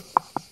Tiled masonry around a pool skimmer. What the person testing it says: Et là, on entend que c'est creux.